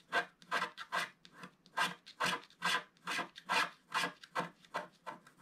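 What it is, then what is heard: Scratch-art paper being scraped. A wooden stick scrapes a thin sheet of black-coated scratch-art paper in repeated strokes. Each stroke is a dry, bright, raspy scratch with little low end, coming at a steady pace of a bit more than two per second over the clip.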